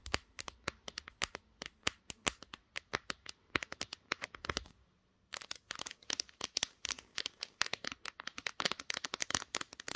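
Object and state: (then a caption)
Glass-backed smartphone. Long green nails tap rapidly on the glass back of a pink smartphone, the recording device itself, around its camera lenses. The sound is a dense run of sharp, bright clicks with no ring, broken by a short pause before the tapping resumes just as fast.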